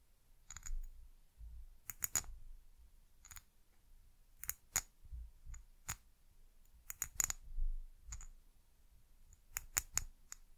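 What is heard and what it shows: Long nails tap a small amber glass bottle with a white cap, held sideways. A series of sharp, bright clicks with a high glassy tick is heard, each dying away almost instantly, over a soft low rumble of handling between taps.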